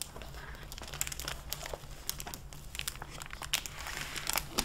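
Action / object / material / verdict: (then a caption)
scrape / hardcover book with a plastic jacket cover / plastic / none. A dark-blue hardcover library book in a clear plastic dust-jacket cover is opened by hands with long nails that flex the jacket and pages. The plastic gives off a steady run of bright, sharp crinkles and crackles over a low, constant hum.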